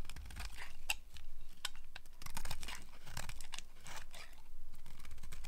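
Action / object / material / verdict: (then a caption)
scrape / bar of soap scraped with a small blade / soap / none. A solid, dry pink soap bar with an embossed logo is held in the hand while a small blade scrapes shavings off it, and long nails occasionally tap against it. Dry, crunchy scraping and crisp, bright scratches come in quick, uneven strokes over a steady low rumble.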